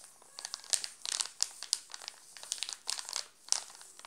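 A hand crinkles and rubs the glossy plastic wrapper of a full, sealed Alpino chocolate bar. The result is a string of sharp, bright crackles and rustles, almost entirely high-frequency with virtually no low end, coming in clustered bursts with short quieter gaps.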